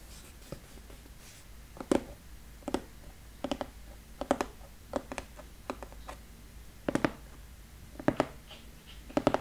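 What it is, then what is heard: Cardboard box. Fingertips and nails tap and scratch the lid of a large, flat brown cardboard box lying on a table, hollow with contents inside. The sound is a series of short, dull, papery taps, often in quick pairs or clusters. Faint scratching runs between them over a quiet background.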